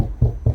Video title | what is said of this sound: How To Make A Background For Your Youtube Videos #YouTubeGame [Vlog #104] | when you knock it you hear the hollowness